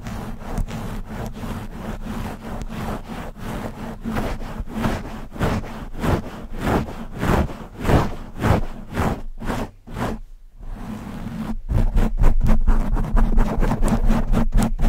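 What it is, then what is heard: Foam microphone windscreen. Long nails scratch fast over the sides and top of a black foam windscreen covering a microphone head. It makes a rapid, rhythmic, muffled scratching at about two strokes per second, heavy in low rumble with little high end. The strokes briefly thin out and drop near the ten-second mark, then return louder to the end.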